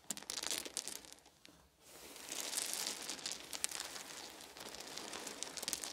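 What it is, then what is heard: Wooden beads. Bare hands scoop up a pile of small, solid, round wooden beads from a fluffy blanket, roll them between the palms and let them fall. Dense, bright clicking and rattling fills the clip, with a brief quieter dip before it swells back into continuous crisp clatter.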